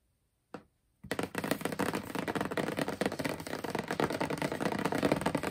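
Long purple nails and fingertips tap and scratch across the closed lid of a large rectangular cardboard shoebox with a black-and-white marble print and a Demonia logo. A single tap sounds, then after a brief silence a dense, continuous stream of quick, dry clicking and scratching runs steadily to the end.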